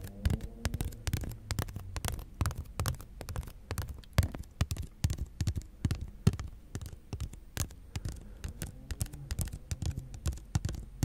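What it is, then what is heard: Plastic toy wand, scratched and tapped. Fingertips and nails scratch and tap along the ridged shaft of a long, thin, bright green plastic toy wand with a sculpted figure at one end, possibly hollow, held horizontally. Quick, irregular, dry taps and scratchy rubs come in a dense, uneven patter, mostly low and hollow-sounding with a faint low hum underneath.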